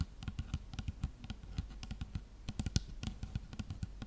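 Long nails tap steadily along the side of a dark plastic shampoo bottle of about 250 ml with a silver cap, producing around 22 quick, soft taps. Each tap is a dull, low thud with a faint clicky edge that dies away almost instantly.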